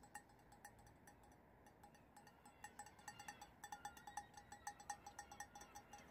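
A large, empty, hollow cut-crystal glass vessel with a faceted diamond pattern is held in the hands and tapped and scratched on its cut facets with fingertips and nails. Short, bright glassy pings ring around 820 Hz with higher overtones, coming in an uneven rhythm over a steady hiss. The taps grow louder and more frequent in the second half.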